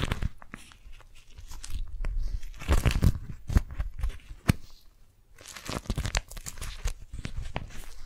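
Hands crumple an orange-print beeswax-coated cotton food wrap, fingers squeezing and crinkling the sticky waxed fabric. Close, uneven bursts of crackling and crunching rise and fall, with sharp snaps and soft low thumps, pausing briefly near the middle before picking up again.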